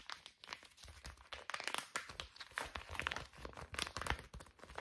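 A small soft plastic pouch of facial wipes, white and green, is held flat in both hands and scratched and tapped with long fingernails. It gives a steady run of quick, dry crinkles and light taps, with bright rustling that starts and stops in short bursts and dies away almost instantly.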